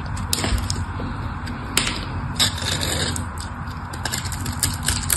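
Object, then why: Bar of soap scored with a metal blade. A solid pink bar of soap is held in the fingers while a metal blade scores and cuts into its surface. Dry, crackling scrapes and sharp, bright clicks stand out over a steady low rumble.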